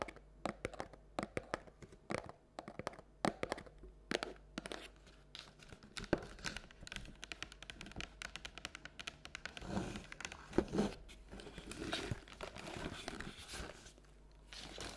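Long nails tap and scratch the side of a hollow paperboard Halloween treat bucket with a striped base as it rests on and is lifted from a table. Quick, dry, sharp taps come in dense bursts with almost no ring, mixed with rougher scratching and crinkly rustles toward the end.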